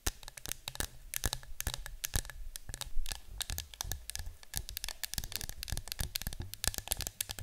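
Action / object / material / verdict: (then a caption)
scrape / cardboard canister / cardboard / none. Long nails scratch and tap the front and side of a yellow cylindrical citronella canister that appears to be cardboard, standing on a table. A dense run of quick, crisp taps and scratchy strokes follows, each with a dull, hollow low thump and a bright click that dies away almost instantly, over a soft scraping hiss.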